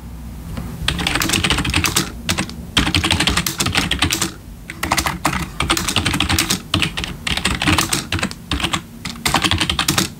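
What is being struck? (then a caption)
Plastic membrane computer keyboard. Bare fingertips of both hands type on a full-size black plastic membrane gaming keyboard with RGB backlit keys resting on a wooden desk. Rapid, bright plastic key taps with a low thud beneath come in dense bursts, broken by brief pauses. Each tap dies away almost instantly.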